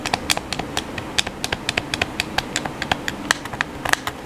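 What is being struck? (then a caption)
Plastic game controller. Fingertips rapidly tap the buttons of a hollow black plastic PS4 controller held in the hands, making about 27 quick, dry plastic clicks over four seconds. Each click is short and bright, with almost no ring and little low end.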